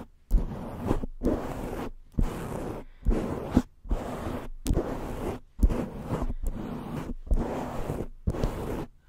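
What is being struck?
Foam microphone windscreen.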